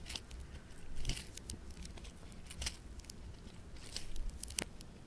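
A small, palm-sized piece of bright green polystyrene-bead floam is pinched, folded and stretched between the fingertips. It gives off a steady run of crisp, bright crackles and tiny bead pops over a faint low rumble, with a few sharper snaps standing out.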